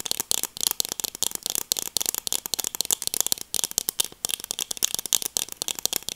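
Black plastic-framed sunglasses are held in both hands while their frame and lenses are tapped and scratched with long acrylic nails. A dense run of quick, dry, bright clicks and scratchy rattles with almost no low end, each tick dying away instantly.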